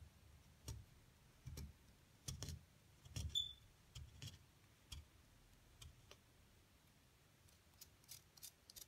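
A metal pick digs and scratches into a solid, brick-sized plaster block that is partly dug out on top, chipping off crumbly bits. About sixteen short, irregularly spaced scrapes and taps are heard, each with a dull low thud and a bright gritty edge, plus one brief high squeak partway through. The sound is quiet and close, with quick dry decays and near silence between strokes.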